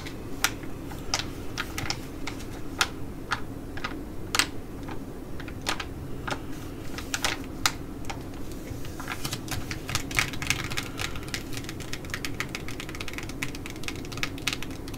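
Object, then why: Laminated plastic sheet-mask pouch. Long nails tap and scratch a laminated plastic Skin&Lab sheet mask pouch, first held and then laid flat. Quick, sharp, bright clicks with very short decay come irregularly throughout, growing denser in the second half, with a faint crinkle over a steady low background hum.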